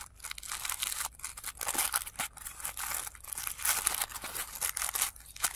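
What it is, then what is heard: Tissue paper flower being crinkled. Fingertips crinkle and fold the thin, flat petal layers of a blue tissue paper flower, heard played in reverse. Dense, bright papery crackles and rustles swell and fade in uneven bursts, with almost no low end.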